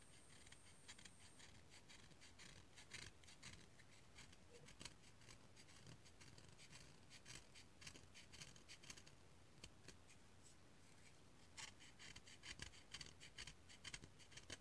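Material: Bark.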